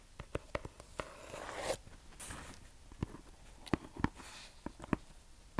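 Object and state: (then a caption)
Paper-wrapped gift box. Long manicured nails tap and scratch a small, hollow rectangular gift box wrapped in brown kraft paper and tied with red string. Sharp, dry taps are scattered across the clip, with brief papery scratching passes in between. Each tap dies away almost instantly.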